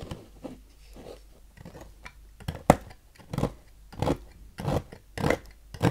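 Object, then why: Bar of soap cut with a knife blade. A knife blade cuts shavings off the grooved end of a solid yellow oval Noxes soap bar on a table. Short, dry, crunchy scraping strokes come one after another at an uneven pace, growing louder and fuller in the second half. Each stroke is muffled and low-to-mid toned, ending quickly with no ring.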